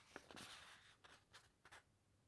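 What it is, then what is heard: Paper encyclopedia pages being rubbed and turned. Long nails rest on and rub the thick uncoated paper pages of a large open hardcover encyclopedia, then the hand lifts and turns a page. Five soft, bright, papery rustles and scrapes come in short bursts, each fading quickly over a quiet background.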